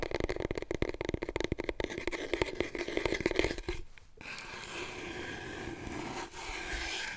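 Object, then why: Long cardboard paper tube. Fingertips and nails rub and scratch a long, hollow, empty cardboard paper roll tube, held first upright and then diagonally. For about four seconds there is a fast run of crisp, hollow taps and scratches with a resonant body tone. After a brief pause it gives way to a steadier, continuous rubbing scrape.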